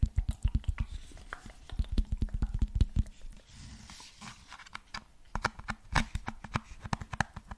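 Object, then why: Fabric-covered cylindrical speaker with rubber end caps. A cylindrical JBL Bluetooth speaker with a grey fabric cover and rubber end caps is tapped and scratched with fingertips and nails, including on an end cap. Rapid, dull, bass-heavy taps come in quick bursts, with a softer scratchy patch in the middle and some sharper, brighter clicks near the end.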